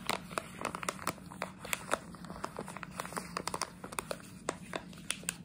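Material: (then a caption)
Plastic. A plastic jelly bean bag held upright is scratched and crinkled with long nails, producing a dense run of sharp, bright crackles and clicks over a steady low hum. Each crackle snaps off almost instantly, leaving a busy, close crinkling texture throughout.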